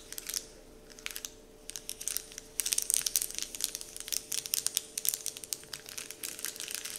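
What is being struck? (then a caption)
Printed paper candy wrapper sheet. Fingertips scratch and crinkle a large, flat, heart-shaped printed paper Dove candy wrapper sheet. Quick, dry, bright crackles start in sparse bursts and grow denser and busier after the first few seconds, with almost no low end. A faint steady hum sits underneath throughout.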